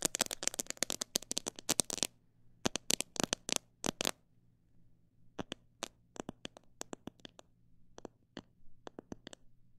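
Fingernails tap on a plastic bottle holding parrot seed, first in a fast, dense flurry for about two seconds, then in slower, spaced bursts. Each tap is a short, dry, bright click with almost no ring, over a faint low hum.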